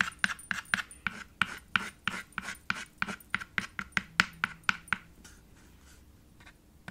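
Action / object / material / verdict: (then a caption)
tap / chalk on a small wooden-framed chalkboard slate / slate, chalk / none. White chalk taps and strokes across a small dark chalkboard slate set in a red wooden frame, making about 19 sharp, bright clicks with a short scraping rasp in the first five seconds. The strokes then fade into soft, faint scratching, with one last light tap at the end.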